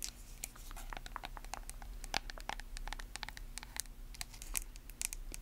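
Long acrylic nails tap and scratch a small, hollow, lidded white plastic face mask jar with a label. The result is a quick, uneven run of sharp, dry clicks and brief scratchy strokes with no ring, over a faint steady low hum.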